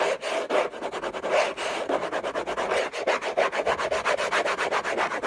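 Short nails scratch fast across the textured surface of a large, flat, hollow orange Hermès cardboard box lid. The result is a rapid run of dry, rasping strokes with a papery hiss reaching into the highs and a hollow midrange body around 670 Hz.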